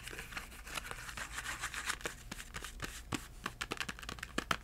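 A small, hollow yellow Crayola cardboard box filled with crayons is held upright and tapped with the fingertips. It gives a quick, uneven run of dry, papery taps with a faint crinkly rustle, each tap dying away almost at once.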